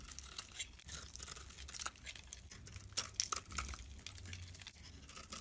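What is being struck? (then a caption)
Soap bar shaved with a blade. A utility blade shaves the orange surface off a solid soap bar with a white core, held in the hand. Quiet, dry scraping and crisp crunching cuts follow one another in quick bursts, bright and airy, over a faint low rumble. Thin shavings come away from the bar as it is carved.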